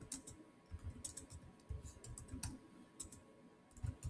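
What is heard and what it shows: Fingertips type on the solid keys of a black plastic chiclet keyboard on a silver Samsung laptop. Quiet, irregular key taps each give a soft low thud with a short bright click on top, and every tap dies away quickly.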